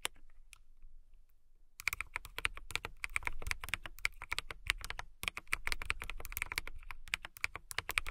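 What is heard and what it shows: A clear acrylic mechanical keyboard with transparent keycaps is typed on by fingertips with long nails. After a quiet start with a few soft clicks, a rapid run of sharp, bright keystrokes follows, with a brief pause near the five-second mark before the typing resumes.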